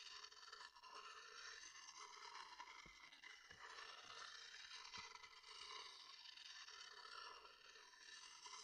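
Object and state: Wooden bowl scraped with a stick.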